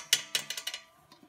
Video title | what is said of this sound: How to Fix a swivel chair. Repair a loose turntable and tighten a wobbly base | giving them a tap with my finger is how you check them